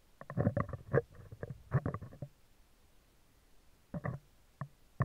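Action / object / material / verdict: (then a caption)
scrape / steel wire-mesh microphone grille / steel mesh / none. Metal tweezer tips scratch the top and upper-left of a hollow, round steel wire-mesh microphone grille. Bursts of close, scratchy rasping come in clusters with pauses between them, and the sound is mostly low with little high-end brightness.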